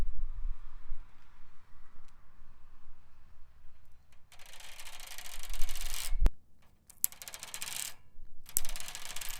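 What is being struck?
Metal wire bicycle basket.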